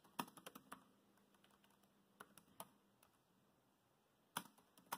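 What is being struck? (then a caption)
Plastic laptop keyboard. Fingertips type on a dark grey plastic laptop keyboard, giving short, crisp key taps in uneven bursts. A quick cluster of clicks opens the clip, then scattered taps follow and a last burst closes it, each click dying away almost at once over a faint steady hum.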